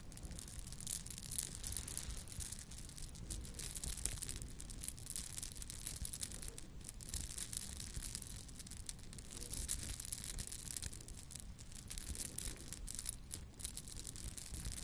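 A small, ornate gold-colored metal charm, possibly hollow filigree, dangles from one hand by its top while long lilac nails on the other hand scratch at it. The result is a quiet, steady stream of fine, crackly scratching and ticking with a thin, bright high edge over a soft low rumble.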